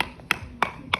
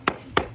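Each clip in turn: First: well-bonded cement render. Second: hollow, debonded cement render.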